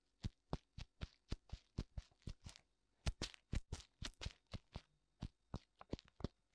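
Fingertips tap both white silicone ears of a black binaural microphone. About 25 soft, short, dull thumps come at an uneven pace, heavy in the low end with a faint bright crackle on each touch.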